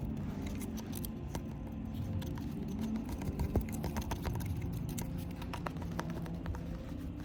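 A wooden cafe table is tapped and scratched, giving many quick, sharp clicks that flick up into a bright range. Soft background music and a steady low rumble run underneath throughout.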